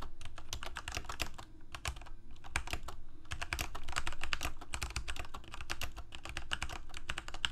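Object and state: Plastic mechanical keyboard.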